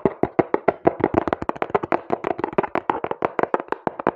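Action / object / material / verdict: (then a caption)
tap / small cardboard box / cardboard / none. A small, hollow brown cardboard box is held close to the mic and tapped and scratched quickly with fingertips and long nails. The result is a fast, uneven run of about two dozen dry, hollow, midrange taps that stop instantly with no ring, mixed with light scratchy rasps.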